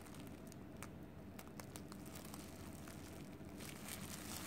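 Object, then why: Cooked rice ball wrapped in plastic film. A palm-sized, solid mound of cooked white rice tightly wrapped in clear plastic film is held in both hands while fingertips and long painted nails press, squeeze and rub the wrap. Soft crinkling and scattered bright crackles and nail clicks sit over a steady low rumble. The sound grows slightly louder toward the end.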